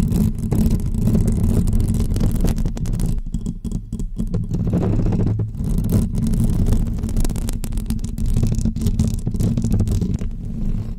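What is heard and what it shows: Long almond-shaped fake press-on nails scratch the hollow woven metal mesh dome grille of a pink microphone. The result is a dense, continuous scratching rumble, heavy in the low end with a deep hum-like body and little high content. It eases slightly around the middle before returning to full strength.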